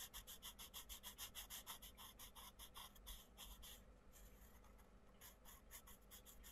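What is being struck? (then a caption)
Wooden coloured pencil on a paper colouring page. A wooden coloured pencil scratches across a paper colouring book page in short, rapid colouring strokes while the other hand presses the page flat. The result is a quick, rhythmic series of bright, dry scratching bursts, about three per second, over a faint low hum. The strokes are crisp and distinct at first, then become softer and less defined partway through.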